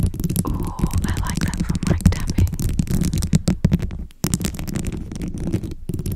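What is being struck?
Plastic bead-covered microphone cover.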